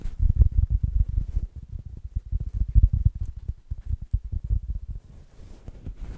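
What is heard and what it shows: A small, fist-sized stuffed plush pineapple of striped green and orange felt-like fabric with a green leafy top, hollow and filled with stuffing, is held in both hands next to the microphone and rubbed and squeezed with the fingertips and long nails. The result is a rapid, uneven series of soft, muffled thumps and rustles, deep and dull with almost no bright content. The sounds grow quieter and sparser near the end.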